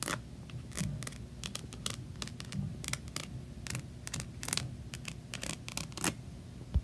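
Long nails scratch across the rhinestones of a rainbow rhinestone-covered plastic diary with a unicorn patch and tap on its cover. Many short, bright clicking ticks and scraping rattles sound over a steady low hum, and a louder tap lands at the very end.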